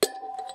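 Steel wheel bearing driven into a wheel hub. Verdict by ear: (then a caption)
Seated. A socket and hammer drive a steel motorcycle front wheel bearing into the wheel hub, giving a sharp metallic strike with a clear ringing tone around 420 Hz and a sustained higher ring. The ring lingers quietly with a few faint bright clinks. The bright, solid ring shows the bearing has reached its stop and is fully seated, undamaged and turning correctly.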